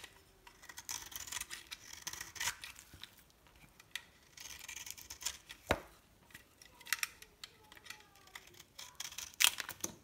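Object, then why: Bar of soap cut with a metal blade. A solid dry green bar of soap is carved and scored with a metal blade into thin, crumbly slices. Bright, dry scraping and crisp crackling crunches come in short bursts, with brief quiet pauses between cuts. Faint low tonal traces sit beneath the cutting.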